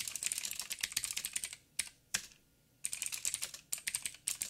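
Fingertips of both hands type on a backlit 87-key mechanical keyboard with plastic keycaps and clicky blue switches. Bursts of quick, bright, sharp clicks are broken by two lone keystrokes and a short silence before rapid typing resumes.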